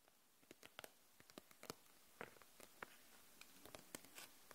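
Long nails tap the barrels of a row of plastic felt-tip markers held upright in a clear plastic package. About seventeen quiet, dry, separate clicks and ticks are heard, each bright and gone almost instantly over a faint hiss.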